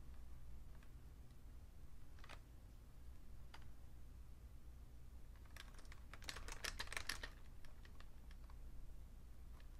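A vintage beige plastic full-size Fujitsu Siemens keyboard with a hollow case is typed on with slow fingertip key presses. Scattered, sharp, bright clicking taps sit over a steady low hum, then bunch into a quicker, louder burst of keystrokes near the end before thinning out again.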